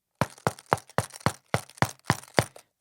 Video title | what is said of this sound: Is the Olympus DM720 the BEST Voice Recorder for the Blind? | very sturdy you can hear me um knocking on it